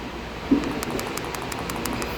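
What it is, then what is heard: Loose, rattling VANOS camshaft adjuster. A removed metal VANOS camshaft adjuster unit from a B48 engine is shaken by hand, giving a series of light, bright clicking rattles over a steady low background hum. It rattles loosely, as if nothing catches inside, unlike the other unit, which stays silent when shaken. The loose rattle matches an odd piston-like knocking heard earlier from the exhaust VANOS, and the unit is suspected to be clogged, though this is not confirmed.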